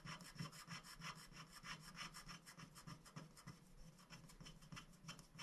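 A wooden stick scratches the black coating off a thin, flat scratch-art sticker sheet of black-coated paper lying on a glass board while a hand holds the sheet. Short strokes come in a quick, fairly steady rhythm of about three per second, each a dry, raspy scrape with a bright, hissy top and a low rubbing body.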